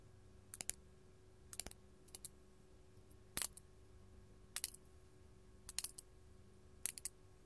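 A large, solid, faceted purple artificial glass crystal held in the hand is tapped with long gold metal claw nails. Quick, bright clicking taps come in short clusters spread across the clip, each dying away almost instantly, over a quiet, steady low hum.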